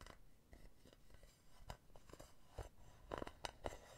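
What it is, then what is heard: Metal mesh pen holder tapped with fingernails. Long painted nails tap and scratch the base on the underside of a hollow, empty silver metal mesh pen holder. About seven sharp, quiet taps with light metallic clinks at around 590 Hz stand out against a soft scratching texture. Each tap dies away almost at once.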